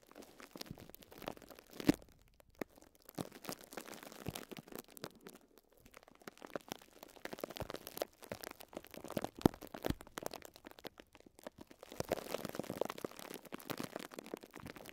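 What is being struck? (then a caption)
Thin plastic cling film wrapped around a sponge. Fingertips rub and scratch thin clear plastic cling film wrapped around a small pink and yellow sponge block, making soft, continuous crinkling and crackling. Dense clusters of quick, dry ticks run through the clip with a few sharper crackles, mostly mid-range with some faint bright hiss.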